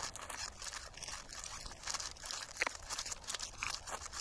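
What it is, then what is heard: Dried sunflower seed head. Thumbs and fingertips rub and scratch the black seeds loose across the face of a large dried sunflower head, a solid plant mass held in both hands outdoors, exposing its yellowish-brown base. A steady, dense, bright crunching and crackling scrape continues throughout with very little low end, marked by a few sharper, louder cracks in the second half.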